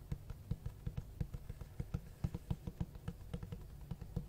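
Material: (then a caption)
Cloth-covered board. Fingertips tap and scratch the cloth-textured cover of a large black hardcover book with white page edges, giving about eighteen soft, dull, low thuds in an uneven rhythm. Each tap is muffled and dies away almost instantly, with faint scratching between them.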